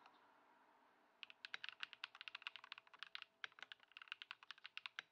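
A compact white Ducky One 2 SF mechanical keyboard with plastic keycaps, resting on a wooden desk and modded with Poron foam and swapped switches, is typed on continuously with the fingertips of both hands. After about a second of faint hiss, a quick run of bright, short, crisp clacks follows with no low thump and almost no ring.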